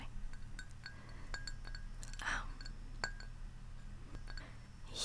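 Long painted nails tap the outer wall of a large, hollow, white glazed ceramic Central Perk mug. They make a series of light, bright clinks that ring briefly around 1.6 kHz over a steady low hum, with a soft breathy rush partway through and another at the end.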